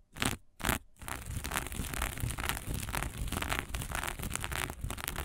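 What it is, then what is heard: Sequin fabric. A small patch of fabric covered in green and blue sequins is scratched with the long nails of both hands. Two short raspy strokes open the clip, then a dense, continuous crackling scrape follows. It has a bright, rustling texture over a low rumble.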